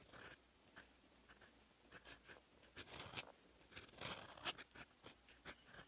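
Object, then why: Steel fountain pen nib on lined notebook paper. A steel fountain pen nib in black ink scratches across a lined paper notebook page in short, irregular strokes. The sound is a soft, bright, dry scratching with little low end, rising and falling in brief bursts.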